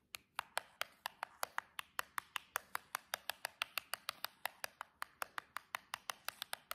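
Long jeweled acrylic nails tap and scratch along the side edge of a small hollow cardboard nail box. About 37 quick, dry clicks follow in a steady, even rhythm, each bright and very short with almost no ring and no low end.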